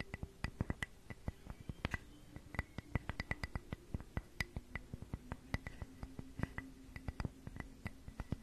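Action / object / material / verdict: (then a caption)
tap / flat carved wooden heart cutout / wood / none. Long nails scratch and tap the surface of a flat, solid, hand-sized heart-shaped wooden piece with carved grooves, held in both hands. Dozens of quick, dry clicks and taps ring out over a soft, continuous scratching, each one stopping instantly. The sound stays quiet and close throughout, with a faint low hum beneath.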